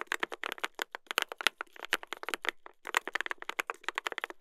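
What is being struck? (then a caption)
Mechanical keyboard, brass plate and plastic keycaps. Two hands type continuously with their fingertips on a mechanical keyboard with a brass plate and plastic keycaps. About 29 quick, crisp, bright clacks fall in a steady run over 4.5 seconds, with a brief pause just past the midpoint. Each keystroke stops dead with no ring.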